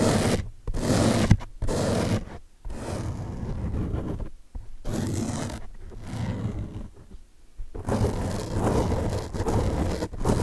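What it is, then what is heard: Foam car sponge. Fingertips and short nails scratch and drag across the wavy top surface of a large blue open-cell foam car washing sponge, a soft porous block. The sound is a dull, rough, low-heavy rasping with almost no bright edge, coming in bursts separated by brief silent gaps.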